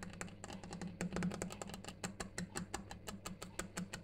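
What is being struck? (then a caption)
Granite stone surface. Fingers or nails tap a granite surface in a quick, uneven patter of short, sharp clicks with a steady low hum underneath. A clock ticks in the background.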